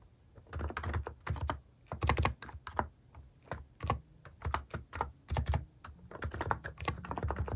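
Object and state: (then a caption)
Plastic keyboard being typed on. Fingertips type continuously on a compact plastic mechanical keyboard with plastic cat keycaps, producing a steady stream of short, dry clacks with soft low thuds and quick bright clicks that stop almost instantly. Keystrokes come in uneven bursts and brief pauses, clustering into rapid rolls at times.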